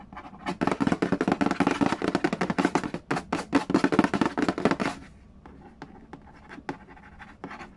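Fingertips and nails trace, tap and scratch the lid of a hollow cardboard Yahtzee board game box. Dense, fast, dry scratching and tapping with bright, papery edges fills the first five seconds, then thins to a few sparse, quieter taps.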